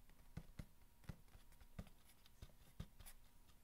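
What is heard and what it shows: Fingernails tap and scratch the top and side of a long, hollow corrugated cardboard box resting on a blanket. Soft, dull, low-pitched taps land at irregular intervals and die away almost instantly, with faint, papery scratching filling the quiet between them.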